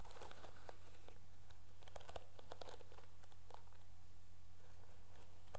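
Long nails scratch and strum the dark bristles of a teal plastic hairbrush, making soft, crinkly clicks and brushy scratches with bright snaps. A steady low hum sits underneath, and the whole clip stays quiet and even.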